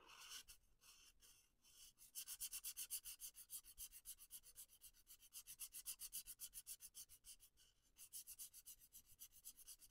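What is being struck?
Felt-tip marker on a paper coloring page.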